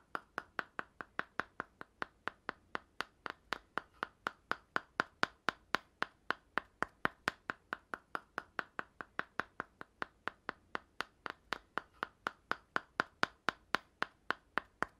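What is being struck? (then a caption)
Small cardboard tube end cap with metal rim. Fingertips and nails tap around the gold metal rim and sides of a small, hollow red cardboard tube end cap. About 63 sharp, dry taps come at roughly four per second in a steady but uneven rhythm. Each tap has a hollow, mid-pitched knock that dies away almost instantly, with very little low end.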